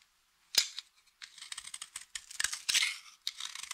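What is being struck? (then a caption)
Bar of soap cut with a knife blade. A utility knife blade shaves and cuts thin flakes from the edge of a solid, dry blue soap bar held up close. The result is a rapid series of crisp, crunchy scraping crackles that are bright and high, with almost no low end. Short quiet gaps separate the bursts of scraping.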